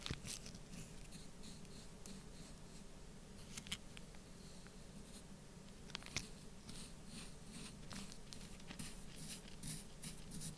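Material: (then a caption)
Sand. A black pointed stylus scratches lines into the surface of a mound of loose orange kinetic sand, and fingers press into the sand. Quiet, soft scratching and gritty rustling run throughout, with brief bright crackles and ticks over a low, steady rumble.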